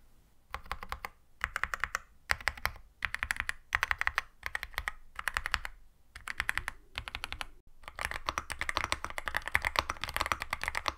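Fingertips of one hand, then both hands, type rapidly on a compact 65% wireless Yunzii AL66 mechanical keyboard with Milk switches, a silver aluminum case and white and black plastic keycaps, resting on a white desk. Short, bright bursts of fast key clacks are broken by brief pauses. The typing ends in a continuous, dense clatter with a low thud under each press.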